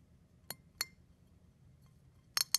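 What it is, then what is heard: Crushed eggshell pieces. A fingertip presses down on brown and white eggshell fragments on a plate, crushing them. Four short, crisp, high crackles are heard, with two spaced apart early and a closer cluster at the end. They are bright and dry with almost no low end, and each dies away almost instantly.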